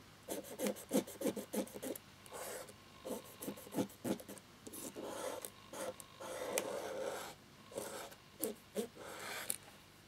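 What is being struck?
Plastic laptop keyboard frame without keycaps.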